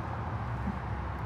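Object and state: Nothing is struck.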